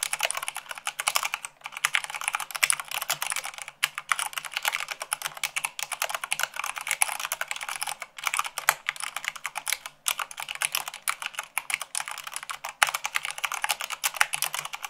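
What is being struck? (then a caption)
Plastic mechanical keyboard keys. A full-size mechanical keyboard with white plastic keycaps on a black base is typed on fast with long acrylic nails at about 98 words per minute. Dense, bright, clicky taps run in quick bursts with brief pauses between them. Each tap is short and crisp with no low end.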